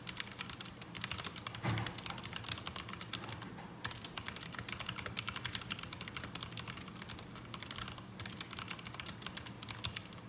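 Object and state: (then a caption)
Mechanical keyboard with ABS plastic keycaps. A black mechanical keyboard with ABS plastic keycaps, resting on a desk mat, is typed on continuously with the fingertips of both hands. Rapid, bright, dry clacks run without pause over a steady low hum, with a slightly louder, fuller burst of keystrokes near the 2-second mark.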